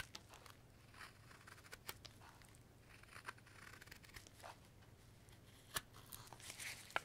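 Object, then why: Light wood block shaved with a steel knife. A steel Marttiini knife shaves the corners of a solid, pale light-wood carving block held in a gloved hand, making short, dry, bright scraping strokes at an uneven pace. The crisp shavings crackle and snap over a faint low hum, with a few sharper cuts standing out near the end.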